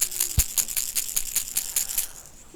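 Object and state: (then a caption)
Lipless crankbait with loud bead rattle. A 6th Sense lipless crankbait fishing lure, painted with dots of blood, is shaken so its internal rattle clicks and chatters in a quick, steady series of bright, high-pitched bursts. Each burst is short and dry with almost no ring, and the rattling fades out near the end.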